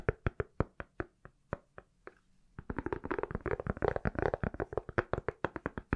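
Fingertips and nails tap on an iPhone inside a pale, palm-sized solid silicone or plastic case. A slow run of spaced, dry knocks is followed after a short pause by a fast, dense flurry of crisp clicks and taps with a low thud beneath each one.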